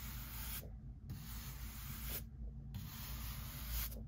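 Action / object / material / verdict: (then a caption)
scrape / pine workbench beam swept with a bristle brush / pine wood / none. A hand-held bristle brush sweeps across the face of a solid pine workbench beam during work removing wood knots. Brushy, hissing strokes are separated by brief pauses, over a steady low rumble.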